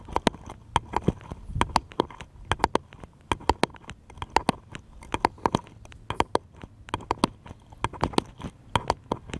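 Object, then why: Small wooden paddle. A small, light, solid wooden paddle-shaped piece is held upright and tapped with the fingertips in quick, uneven bursts. Each tap is a short, dry knock with a woody tone around 900 Hz and a brief bright click, dying away almost at once over a quiet background.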